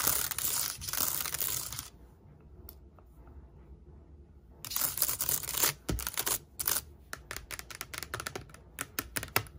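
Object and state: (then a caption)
Aluminum laptop with plastic keyboard. Long nails and fingertips tap and type quickly on the black plastic keys and palm rest of an open silver aluminum laptop with a glass trackpad. A dense, bright, scratchy stretch of clicking fades to near quiet around two seconds. At about four and a half seconds, rapid sharp taps and scratches return until the end.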